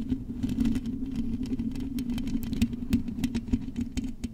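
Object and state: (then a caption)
Metal microphone mesh grille. Long acrylic nails on both hands scratch and tap the hollow metal wire-mesh grille of a silver condenser microphone. A steady, dense scratching texture with a low resonant hum near 240 Hz is punctuated by rapid, sharp taps that decay almost instantly.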